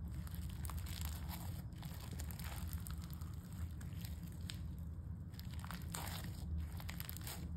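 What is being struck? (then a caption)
Foam-bead slime. A soft, solid mass of pale-yellow foam-bead slime is pressed and folded with fingertips, then pushed down with both hands on a table. A steady stream of crunching and crackling pops rides over a dense low rumble.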